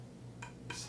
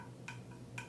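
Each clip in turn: First: Two light taps on a bamboo shakuhachi give brief, bright clicks near 1 kHz, a firm and solid spot. Second: Two light, quiet taps on a bamboo flute give a brief high tick that marks a looser spot.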